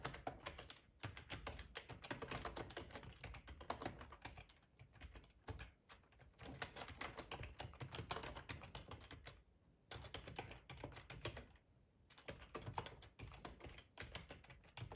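Fingertips type on a black plastic ergonomic split keyboard with a hollow housing, resting on a cloth tablecloth. Quick, dense clicks and clacks come in bursts with a full, hollow low end and short brief pauses between runs, the longest near the tenth and twelfth seconds. Each keystroke dies away almost at once, leaving a steady, soft patter.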